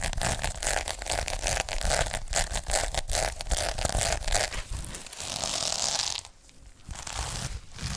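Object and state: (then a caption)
Sequin fabric pouch. Fingertips and nails scratch and brush across a flat rectangular pouch covered in rainbow and silver flip sequins, held in both hands and laid flat. It makes a dense, bright, crinkly rasping in quick irregular strokes. The sound briefly drops quieter just after six seconds before the scratching picks up again.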